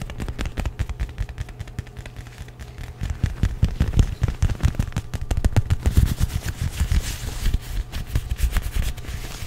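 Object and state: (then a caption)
Leather jacket. Fingertips and nails grip, rub and scratch the lapel of a worn black leather jacket made of soft, flexible material. The result is a dense, rapid crackle of scratchy taps and rustles with a heavy low thump, growing louder and busier after about three seconds before easing slightly toward the end.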